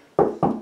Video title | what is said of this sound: How to Install a Recessed "In-the-Wall" Toilet Paper Holder / Dispenser | it sounds hollow here, not so much here